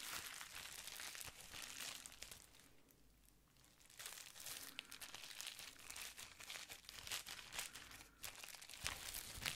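A small folded plastic bubble wrap pad is held in both hands while fingertips scratch and squeeze it. The result is a steady stream of bright, dry crinkling and crackling with short sharp pops. The sound softens briefly around the third second before picking back up.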